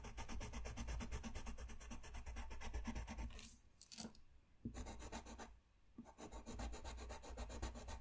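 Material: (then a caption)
Paper. A brown colored pencil rubs a thin white paper sheet lying flat on a desk in rapid back-and-forth coloring strokes while the other hand holds the sheet. The result is a fast, steady, scratchy rasping with a low body and bright grainy edges. It breaks into brief quieter gaps near the middle before the strokes resume.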